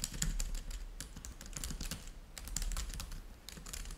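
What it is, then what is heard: Laptop keyboard with plastic keys. Fingertips of both hands type steadily on a black laptop keyboard with plastic chiclet keys resting on a white table. Rapid, bright clicky taps overlap in a continuous patter over a low, soft thudding base.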